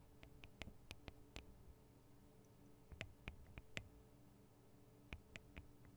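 Long acrylic nails tap and lightly scratch the small hollow microphone capsules (metal grille, plastic body) on a black Tascam DR-40 recorder. Sharp, bright clicks come in three quick clusters and die away almost instantly. Underneath, a quiet, steady low hum runs throughout.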